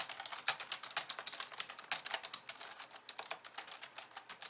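Long polished nails type rapidly with both hands on a compact pink and white plastic computer keyboard resting on a wooden desk. A dense, uneven stream of crisp, bright plastic clicks comes through with almost no low end, each tap dying away instantly.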